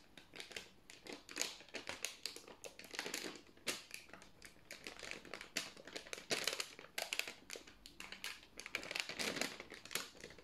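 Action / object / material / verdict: scrape / parchment baking paper sheet / paper / none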